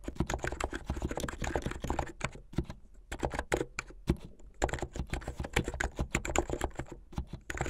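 Fingers with painted nails type fast on a backlit mechanical keyboard with white and blue plastic keycaps. A rapid, uneven stream of short, deep clacks with quick decay runs throughout, easing into softer, sparser taps around the third and fifth seconds before picking back up.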